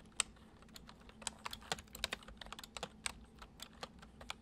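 Fingertips of both hands type fast on a full-size white plastic computer keyboard with hollow keys resting on a wooden desk. About eighteen quick, bright, dry key clicks sound over a low steady hum, each tap dying away almost instantly. The typing stays soft and quiet throughout.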